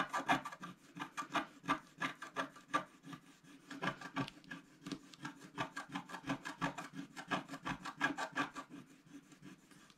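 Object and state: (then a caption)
Scratch-art card being scratched. A wooden stylus scratches the remaining black coating off a large planet on a flat scratch-art paper sheet. It makes a steady run of short, dry rasping strokes that repeat at an uneven rhythm. Each stroke has a faint low tone and brighter scratchy grit above it.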